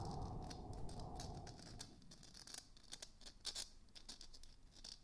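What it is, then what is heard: Plastic moon lamp. A small glowing moon lamp, a hollow palm-sized plastic sphere (likely 3D-printed), is held in both hands and tapped and scratched with fingertips and nails. For the first two seconds there is a dense, rumbling scratch, then quieter, irregular light taps and bright nail clicks patter across the surface.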